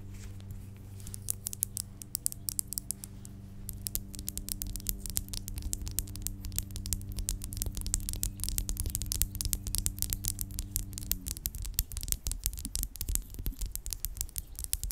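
Long acrylic nails tap and scratch a small, filled pink plastic lip gloss tube with a red cap, first held in the hand and then lying flat. Quick, irregular clicks and scratchy taps come in dense bursts over a steady low hum, and the hum drops away near the end.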